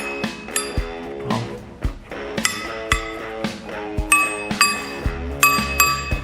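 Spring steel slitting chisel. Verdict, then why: Hardened. A slitting chisel forged from a car coil spring is tapped eleven times after quenching to check whether it hardened. Each strike gives a bright metallic clink that rings with a steady tone near 1.2 kHz and high overtones. The chisel is not perfectly hardened, since a file still bites a little, but it is acceptable.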